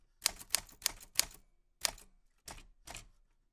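Seven crisp, bright key clicks and typebar strikes from a black 1940s Smith-Corona portable typewriter with a metal body and round keys, paper loaded, as white-gloved fingertips press the keys. Four quick strikes come close together, then three more follow after a pause, each one sharp and dry with almost no ring.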